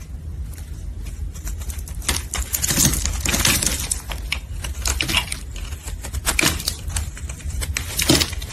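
A solid red embossed soap bar held in gloved hands is chipped and cut with a metal blade, with pieces falling away. Dense, bright crunching and scraping clicks come in quick bursts over a steady low hum.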